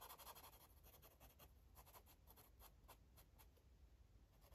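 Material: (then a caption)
Paper. A green marker rubs in quick back-and-forth strokes across a paper coloring book page. The result is a soft, scratchy swishing with brief bright bursts over a low, steady rumble.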